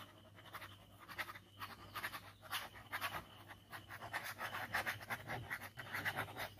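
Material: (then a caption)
Paper. A plastic ballpoint pen scribbles rapidly back and forth across a large white paper sheet lying flat on a table, already covered in inked scribbles of a skull. The fast strokes make dry, papery scratching bursts, bright and airy, in a quick irregular rhythm with a faint low hum underneath.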